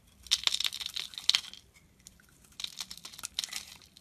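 A solid blue Cuticura bar soap held in hand is scraped and shaved with a metal utility knife blade, curling off flakes. Two runs of crisp, bright scraping strokes are heard, centred around 3.8 kHz with almost no low end, separated by a short near-silent pause.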